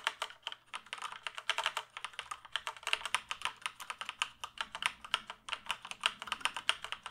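Fingertips type and tap on the keys of a full-size black plastic computer keyboard held upright. A steady, uneven stream of short, crisp plastic clacks follows, each dying away almost instantly. The tone is bright, centered around 2.8 kHz, with almost no low end.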